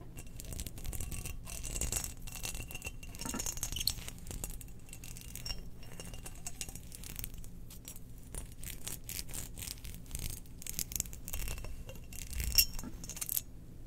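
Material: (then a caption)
Ceramic. Long nails scratch across a spherical, hollow, glazed ceramic Death Star cookie jar held in the hands with its lid on. A steady stream of dry, bright rasps and brief glassy ticks sits over a low, constant hum, with a few sharper scrapes standing out near the end.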